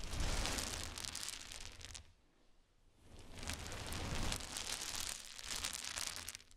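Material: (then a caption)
Wood. A pile of many small solid wood cube chips on a towel is raked and swept with the fingers and nails, making a dense, bright clattering rustle with a soft low rumble underneath. The sound fades to near silence for about a second midway, then builds back into two more surges of rattling.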